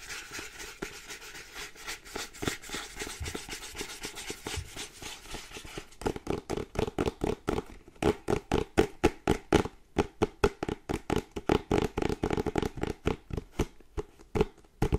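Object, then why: Small printed cardboard box. Fingernails scratch and rub the front print of a small printed cardboard charger box. Soft, dense scratching fills the first six seconds, then gives way to louder, faster strokes at about four per second. Each stroke is a short, dry rasp with a papery midrange tone and a bright edge.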